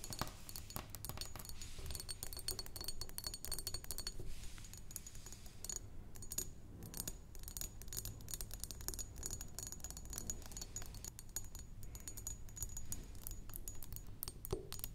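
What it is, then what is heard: Glass perfume bottle. Long nails tap and scratch the walls of a square glass perfume bottle with pink-tinted sides, partly filled with liquid and standing upright on a wooden table. A dense, continuous stream of quick, short clicking taps is heard, mixed with bright scratching rasps and a low, steady undertone.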